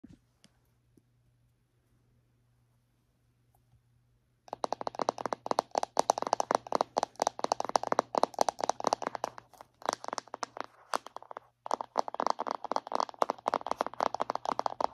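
Long painted nails tap and scratch on the lid and sides of a round, lidded, palm-sized plastic tub of Villains body butter that is likely full. After about four seconds of near silence with a faint low hum, a rapid stream of dry, crisp clicks and scratches begins. It pauses briefly around the eleven-second mark, then resumes.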